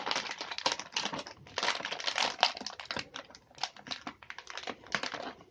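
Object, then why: Plastic cookie tray wrapped in thin film. A clear plastic tray full of chocolate chip cookies, wrapped in thin plastic film with a cardboard label, is held in both hands and squeezed and rubbed with the fingertips. The result is a dense, continuous run of sharp, bright crinkling and crackling with almost no low end. The crinkles swell and fade in quick bursts throughout.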